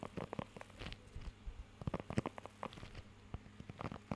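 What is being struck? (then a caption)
Rubber grooming glove with raised nubs. Fingertips scratch and tap across the raised nubs of a blue rubber pet hair grooming glove held close to the mic. The result is a rapid, uneven series of short, dry, muffled taps and scratchy rubs, weighted toward the low end with little brightness.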